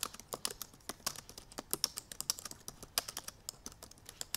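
Long purple nails and fingertips tap the black plastic keys of a silver aluminum MacBook Pro laptop keyboard while typing. About thirty quick, quiet, bright clicks and taps come in an uneven rapid stream, each dying almost instantly, with almost no low end.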